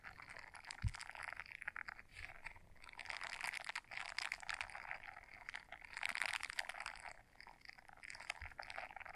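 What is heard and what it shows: A small blue silicone scrubber brush, folded in half, has its bristles scratched by long nails. It makes a dense, crackly, bright scratching that swells and fades in waves over about nine seconds. A faint low thump sounds near the start.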